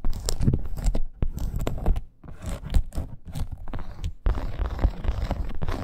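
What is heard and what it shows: Long acrylic nails scratch across a dark red, snake-embossed faux leather wrist bracer fitted with grommets and studs. Quick scratchy strokes and soft ticks come in irregular bursts over a deep, low rumble, with brief quieter gaps between runs.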